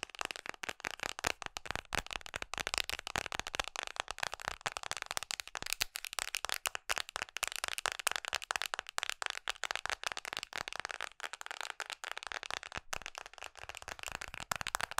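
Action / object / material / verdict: tap / hard plastic phone case on a smartphone / hard plastic / none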